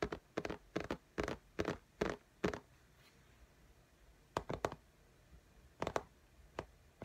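Long fingernail tips tap very fast on the glass screen of an iPad in a pink case, making sharp, clicky midrange taps with almost no ring. The taps come in uneven clusters, with a quiet gap in the middle and a few scattered taps near the end.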